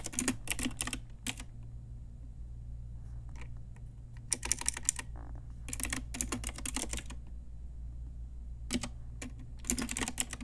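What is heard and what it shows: Slow typing with fingertips and long nails on a pink Ajazz typewriter-style retro mechanical keyboard with round plastic keycaps. Short, bright clacking keystrokes come in quick clusters separated by pauses, over a steady low hum.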